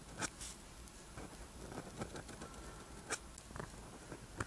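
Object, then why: Pen tip on rough paper sheet. A ballpoint or gel pen tip scratches across a flat sheet of rough-textured white paper while writing black Korean characters. It makes soft, dry scraping strokes with a few sharper taps and clicks over a faint low background.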